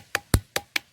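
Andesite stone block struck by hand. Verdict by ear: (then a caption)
Ringing. A hand strikes a pyroxene andesite "gamelan stone" block at the Gunung Padang megalithic site. Four short, separate taps sound with a clear, bright ring like struck iron, a tone similar to a gamelan instrument. Each tap decays quickly, and the second one is the loudest and deepest.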